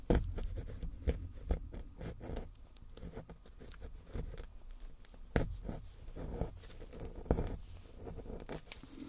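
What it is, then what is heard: Plaster bar being scraped. Gloved hands scrape at the chipped corner of a small solid gold-painted plaster bar with a flat wooden or clay sculpting tool, knocking loose plaster powder. The result is a quiet, low, dry scratching and pattering, broken by sharper scraping clicks that fade almost instantly.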